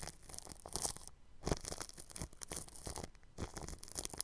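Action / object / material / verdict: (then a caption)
scrape / plastic cling film stretched over a microphone / plastic film / none. A bristle paintbrush brushes across the grille of a round microphone wrapped in clear, stretched cling film. The strokes make dense, crinkly, scratchy rustling with a low thump underneath and bright hiss on top. The brushing comes in bursts, with brief quiet pauses between them.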